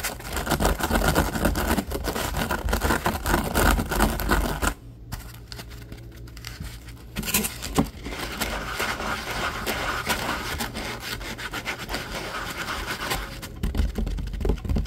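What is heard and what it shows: A rectangular foam kitchen sponge with a yellow scouring layer, soft and porous, rests on a wooden table and is scratched and rubbed with fingertips and short nails. The result is dense, rapid scratchy rubbing over a steady low hum. It drops to a quieter patch for about two seconds near the middle before the scratching returns and builds again toward the end.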